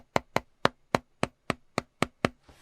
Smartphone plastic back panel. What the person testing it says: do you hear this hollow sound? It's like a balloon almost. Uh, also it has a little bit of a give considering it is plastic and there is empty space.